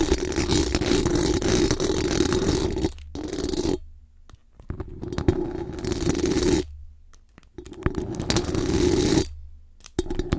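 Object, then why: Metal mesh microphone grille. Very long acrylic nails scratch fast and hard across the hollow metal mesh dome grille of a large condenser microphone. The result is a dense, gritty rasp with a strong buzzing tone around 350 Hz and a boomy low rumble, coming in several long bursts separated by short silent pauses.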